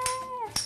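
A spoon strikes the middle of the hardened caramelized sugar crust on a creme brulee, and the crisp top cracks to reveal the creamy custard underneath. Two sharp, bright clicks are heard, with a faint tone sliding downward between them.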